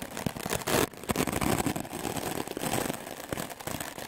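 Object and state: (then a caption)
Melamine foam sponge being brushed. A solid white rectangular melamine foam magic eraser block, held in the hand, is scrubbed fast back and forth with a wooden-backed clothes brush with dark stiff bristles. The strokes make rapid, rough, scratchy swishes that spread from low thumps up to bright hiss, with a louder burst near the start before settling into a steady scrubbing rhythm.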